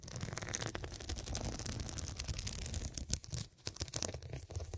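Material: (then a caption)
Glass. Fingertips and long nails scratch and tap the square faceted glass studs covering a medium, soft, filled fabric cushion. The result is a dense, continuous bright scratching crackle with sharp clicky taps over a low, soft rumble, dipping briefly quieter near the end before the tapping resumes.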